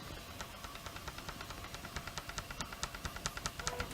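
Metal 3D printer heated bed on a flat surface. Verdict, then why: Not flat. A new Orballo MK42 3D printer heated bed lying on a flat surface is tapped at its edges, making it rock. About twenty light, sharp clicks with a brief metallic ring grow steadily louder over a faint background hiss. The rocking shows the bed is not quite flat, though only mostly flat since its other edges make no sound.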